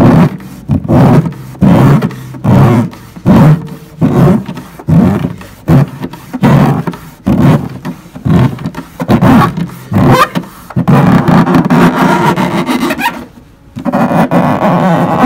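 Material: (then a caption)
Wood. Fingertips and palms rub and tap the front plate around the tailpiece of a large, hollow, varnished wooden cello with a spruce top and maple sides, resting on a lap with its strings present but not plucked. A steady, slightly uneven stream of deep, boomy thumps with a low resonant tone is heard, each decaying quickly. Toward the end the taps blur into a more continuous rubbing rumble, with a brief quiet gap just before the close.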